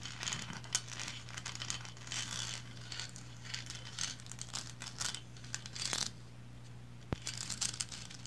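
Long blue nails on both hands scratch and tap the striped body of a small, painted resin lighthouse figurine standing upright. The sound is a bright, dry, crinkly scratching broken by light, quick taps, with a sharp click near the end. A steady low hum runs underneath throughout.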